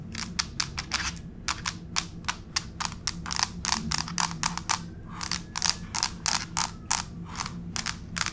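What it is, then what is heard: Laminate floor tapped with fingernails. Long pink fake nails tap and scratch in a scurrying motion across a flat gray wood-grain laminate plank floor. Around thirty sharp, bright clicks come in quick, uneven bursts, each dying away almost instantly. A low, steady hum sits underneath.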